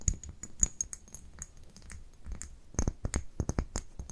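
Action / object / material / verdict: tap / small glass dropper bottle / glass / none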